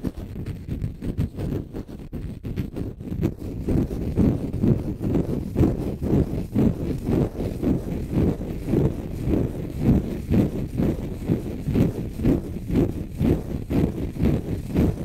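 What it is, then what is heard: Dry konjac sponge. A palm-sized, solid, porous, pale-green dry konjac sponge is held in one hand and scratched with short fingernails. The result is a steady, rhythmic run of dull, low, rumbling scrapes, about two per second, with almost no bright content. The strokes start softer and grow louder and fuller after the first few seconds.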